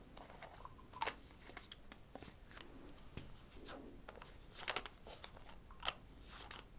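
Long acrylic nails tap a small, hollow white plastic cosmetic bottle with a cap, held in one hand. The result is a quiet run of short, sharp clicks and light crunchy ticks with almost no ring. A few louder taps stand out, near the first second and again around the five- and six-second marks.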